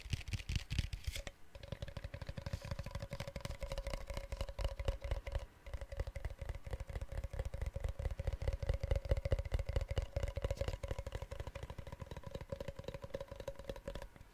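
A hollow, lidded white plastic sports drink powder tub with a blue base and label is turned in the hands and tapped rapidly with fingertips and nails on its sides and bottom. The result is a dense, uneven stream of short, dull, low hollow knocks and clicks, with a faint steady midrange tone underneath. The tapping pauses briefly near 1.3 and 5.5 seconds.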